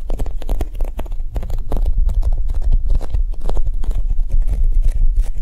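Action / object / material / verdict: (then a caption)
tap / polyurethane foam squishy toy / polyurethane foam / none. Long nails and fingertips tap quickly across the top of a large, solid, soft oval yellow polyurethane foam squishy shaped like a Japanese cheesecake, resting on a table. The result is a dense, steady stream of soft, muffled taps with a low thuddy body, quick bright clicks from the nails, and almost no ring after each tap.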